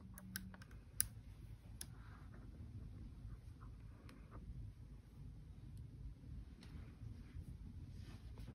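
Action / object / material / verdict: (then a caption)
tap / small coated metal magnet balls / metal / none. Small coated neodymium magnet balls in rainbow colours, assembled into a solid, palm-sized rectangular block or bracelet section, are held in both hands while the fingertips press and roll the balls. Quiet, sharp, bright clicks and ticks come through over a steady low background rumble.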